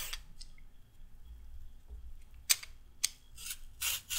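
A raw carrot is peeled with a handheld peeler that has a pink handle and a metal blade. Short, bright, rasping scraping strokes come at an uneven pace over a quiet low rumble, with sharper strokes near the end.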